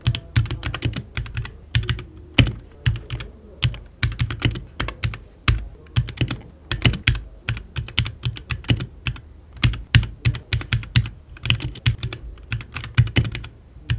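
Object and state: Mechanical keyboard typing.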